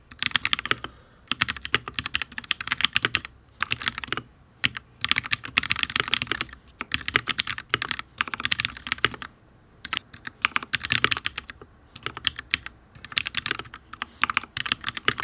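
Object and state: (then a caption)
Mechanical keyboard with ABS keycaps on a steel plate. Fingertips of both hands type on a full-size HyperX Alloy Origins RGB mechanical keyboard with Fire switches and ABS keycaps on a solid steel plate. Rapid bursts of crisp, bright clacks come in quick runs separated by brief pauses. Each keystroke is dry and short, with a click tone around 3.2 kHz and almost no low end.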